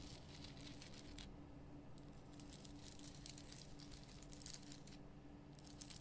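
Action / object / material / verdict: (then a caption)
scrape / rock-salt lamp / rock salt / none. Long painted nails scratch the rough surface of a large, solid, lit pink Himalayan rock-salt lamp. Quiet, bright, gritty scratching comes in bursts with brief pauses, over a steady low hum.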